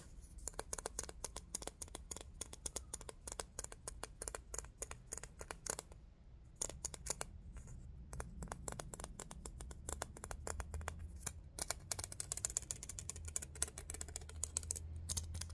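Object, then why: Small hollow glass Christmas bauble with metal cap. A small, hollow, round silver Christmas bauble with a mirror finish, a speckled inside and a metal cap with a hanger loop, most likely glass though possibly shiny plastic, is held in both hands and tapped and scratched with short fingertips and fingernails. Rapid, dense runs of bright, dry clicks and ticks stop dead with no ring, broken by a few brief pauses, over a steady low rumble.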